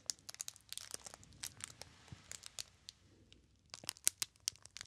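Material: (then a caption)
Cellophane. A small, solid rectangular bar of soap in a clear, crinkly plastic wrapper with a printed paper label is held in both hands and crinkled by fingertips squeezing and rubbing the wrapper. Sharp, bright crackles and crinkles come in quick irregular bursts, with a quieter, softer rustling stretch in the middle before a final flurry of loud snaps.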